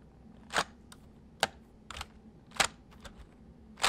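Fingertips press the keys of a white full-size plastic mechanical computer keyboard, slowly at first and then typing. About seven short, bright clicks with very quick decay stand out over a faint, steady background hiss.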